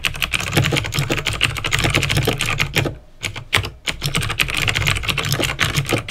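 Fingertips type steadily on a backlit plastic mechanical keyboard with clicky green switches, producing a fast stream of bright, sharp clicks over a low, thocky base. The typing pauses briefly around the middle before resuming at the same quick pace.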